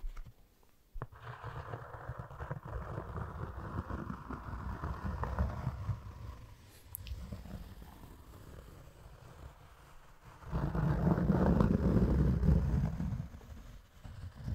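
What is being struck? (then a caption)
Cork sheet. A thin, flat, solid rectangular cork sheet, about 25 x 20 cm, is held up in both hands while fingertips and nails scratch and tap across its surface. The result is a dense, low, rumbling scratching with soft taps mixed in. It swells through the first half, eases off in the middle, then grows louder again in a strong burst of rough scraping near the end.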